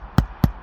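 Two quick taps on a shingled roof at a spot between trusses, where only the sheathing and shingles lie underneath, give a pair of short, low, hollow thuds around 140 Hz that die away almost at once. The spot does not sound solid, so it is not strong enough to hold a roof anchor.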